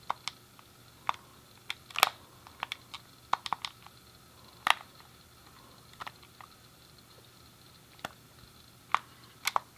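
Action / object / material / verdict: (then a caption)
tap / hand-held plastic game controller / plastic / none. A thumb clicks the D-pad and fingertips press the face buttons of a hand-sized, hollow grey plastic SNES game controller. About eighteen short, dry plastic clicks come at irregular intervals, bright with a midrange tone near 1.25 kHz. Each one dies instantly over a faint steady hiss.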